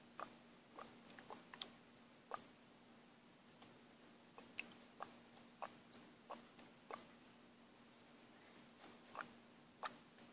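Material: Plastic.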